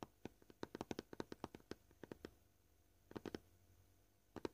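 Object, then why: Plastic cutting board. Short purple-painted fingernails gently tap a flat, solid, white, scratched plastic cutting board. The 21 quiet, dry taps have a hollow knock around 360 Hz and die away almost instantly. They come in a quick irregular run, then a few spaced taps, a pause, a brief cluster, and a final pair.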